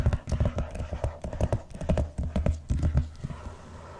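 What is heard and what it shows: Fingertips and nails tap and scratch the cover of a large, closed, blue vinyl-covered binder lying flat on a box. The result is a quick, uneven run of dull, low thumping taps with faint scratchy edges, easing into a softer, quieter scrape at the end.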